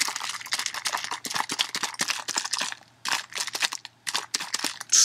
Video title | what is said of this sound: Elemental (liquid) Mercury | it sounds like very very heavy heavy water um but not that's just liquid metal shaking in there